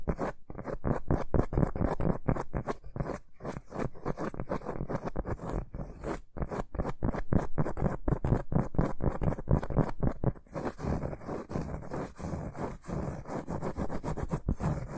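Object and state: Cork board scratched.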